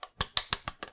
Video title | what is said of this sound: Wild Assent Detailed Unboxing! | And you can hear them together. It sounds solid too.